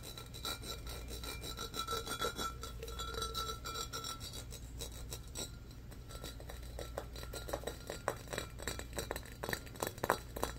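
Fingernails scratch quickly across the ribbed surface of a medium-sized, empty, hollow embossed glass pitcher held in both hands. A dense, rapid rasping runs throughout over a steady low hum, with a faint glassy ring. The scratches grow sharper and louder in the final seconds.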